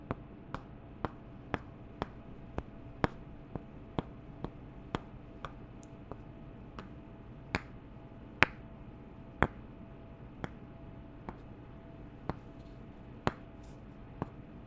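Two wooden candle tops are tapped together about once a second, producing 16 short, dry, bright clicks. The clicks vary in loudness and land at slightly uneven intervals over a quiet, steady low hum.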